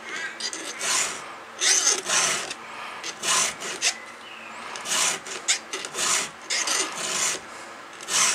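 A round steel file is stroked repeatedly across a cutter on a solid steel chainsaw chain mounted on its bar. Each stroke gives a bright, gritty rasp, with short quiet gaps between strokes.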